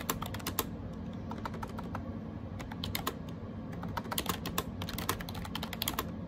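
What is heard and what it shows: Fingertips type rapidly on a gray AJAZZ 308i wireless Bluetooth keyboard with round plastic keycaps. The key taps are short, bright plastic clicks that die away almost instantly, over a steady low rumble throughout.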